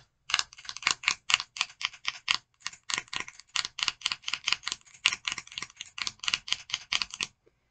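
Long fingernails tap and scratch the case of a small clear plastic e.l.f. eyeshadow palette with four shades, held between the fingers. About thirty quick, dry, bright clicks follow one another in an uneven rhythm for roughly seven seconds, with almost no low end and no ring. The tapping then stops into near silence.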